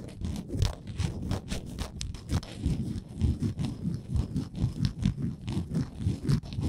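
Long nails scratch along the edges of a small, solid, printed wooden Canada souvenir ornament. A steady run of quick, dry rasping strokes follows one after another, mostly low and thuddy with faint bright scratchy tops, each dying away almost at once.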